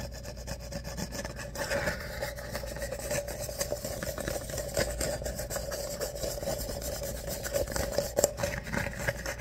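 An empty ribbed paper coffee cup is held upside down while fingertips scratch across its ribbed wall. The result is a continuous dry, raspy scratching full of quick little ticks, with a steady midrange tone near 570 Hz and a low rumble underneath.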